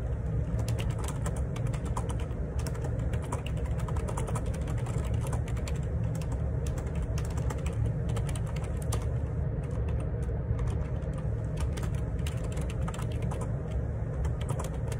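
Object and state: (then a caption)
Plastic computer keyboard. Fingertips type steadily on a black Perixx Periboard 612 wireless Bluetooth dual ergonomic split keyboard with plastic keycaps, resting on a grey desk. Rapid, dense plastic key taps and clicks run throughout over a constant low rumble, staying at an even level for the whole clip.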